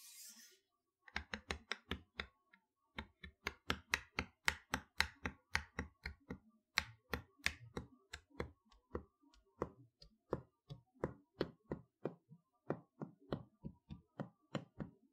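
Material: Cardboard.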